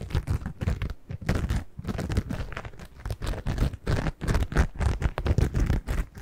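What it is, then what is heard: Cellulose kitchen sponge. A single yellow cellulose kitchen sponge with a green scouring layer is scratched with long nails and squeezed. Dense, rapid crunchy scratching and crinkling come in uneven bursts for about six seconds. The sound is mostly low and muffled, with each scrape cut off almost at once.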